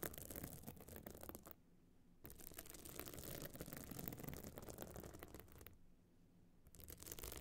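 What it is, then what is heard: Pebble-covered clutch bag being scratched. Long nails scratch and tap across the bumpy surface of a small, hard, hollow metal-frame clutch bag covered in glued stone chips, standing open. The result is a dense, gritty scraping with quick clicky taps, mostly low and mid in tone. It briefly drops to near quiet twice before resuming.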